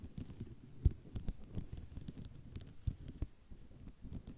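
A flat sheet of white ceramic mosaic tiles is tapped and scratched across with long nails. Quick, dry taps and scraping patter sit low and soft, with a few sharper clicks standing out near 0.9 and 2.9 seconds.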